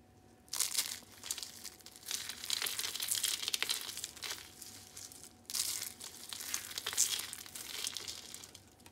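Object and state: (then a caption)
Dry, brittle soap curls. Purple and white dry soap curls are crushed and crumbled between both hands into small brittle flakes. The result is dense, bright, crunchy crackling and crinkling in two long bursts, each starting with a sharp onset and fading between squeezes.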